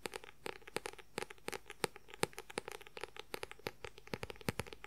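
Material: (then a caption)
Paper. Fingernails rapidly scratch the white paper cover of a paperback book. The result is a quick, irregular run of dry, papery scratches and clicks, each short and bright with no ring, over a quiet background.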